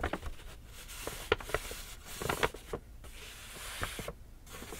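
A small, empty, hollow black kraft paper shopping bag with rope handles is held in both hands while long nails and fingertips tap and scratch its paper side. Eight short, dry taps ring out around 440 Hz, with soft papery scratching and a faint bright hiss between them.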